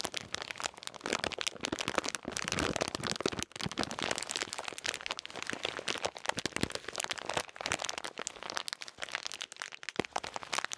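A full blue and white plastic bag of salted peanuts is held close to the mic and crinkled and shaken by the fingers. It gives a dense, continuous run of crisp crackling and crunching with a bright top and almost no low end. Brief lulls come around 3.5 and 10 seconds.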